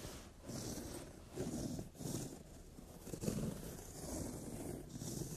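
Long nails tap and scratch a brown glossy leather sofa seat while a palm rubs across the leather. The result is soft, dry rubbing and scraping in slow, repeated swells, mostly low and mid in tone with a faint bright hiss on top.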